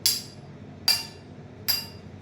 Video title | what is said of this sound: Class 8th Science Metals and Non-metals | सुनो ध्यान से, तो ये प्रूव करता है कि ये मेटल है